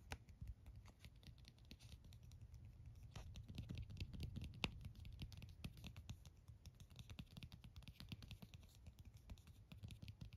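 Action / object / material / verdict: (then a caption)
tap / plastic phone case / plastic / none. Fingernails rapidly tap the back and side edge of a white plastic phone case held up close. The result is a quiet, steady stream of short, dry clicks at an uneven pace, over a soft low rumble.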